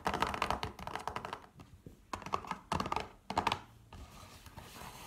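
Long painted fingernails tap and scratch a small rectangular pink and red printed cardboard Douglas mini glam palette box, hollow with a palette inside, standing on a wooden table. Several bursts of quick, dry, clicky taps with a hollow midrange tone are separated by short pauses, then fade into a faint, soft scratching.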